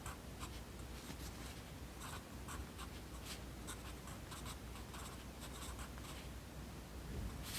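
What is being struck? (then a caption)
Graphite pencil on a paper notebook page. A yellow wooden graphite pencil, held in the right hand, writes on an open lined paper notebook lying flat on a desk. Its tip scratches across the page in quiet, steady strokes with short bright bursts of scratching, over a low constant hum.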